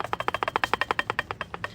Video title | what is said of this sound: Hollowing A Catalytic Converter On A 2018 Chevy Camaro | Kind of sounds like you're making a maraca